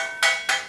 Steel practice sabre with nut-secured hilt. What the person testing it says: it stays very tight and rings. Hope you can hear that. Rings like a bell